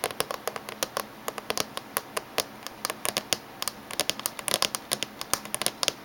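Fingernails tap on the top edge of a closed silver laptop casing. Short, sharp, bright clicks land in a quick, uneven run, each dying away almost instantly with almost no low end.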